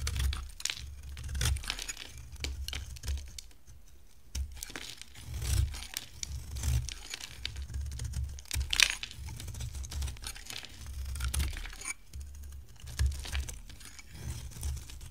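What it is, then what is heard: Dry soap bar shaved with a blade. A box-cutter blade shaves a solid, hand-sized oval green bar of dry soap with a grey-teal rim, peeling off green curls. Each stroke makes a crisp, crackly scrape with bright tearing and crinkling detail over a soft low rumble, coming in short bursts with brief pauses between.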